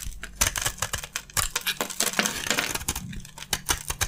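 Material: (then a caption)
Soap. A utility knife blade scrapes and carves crunchy chunks from an oval, solid, hand-sized bar of dry white soap with a gold coating, held in the hand. Quick, dry, bright crunches and scrapes come one after another with very little ring. Small pieces fall away with a light clinking patter.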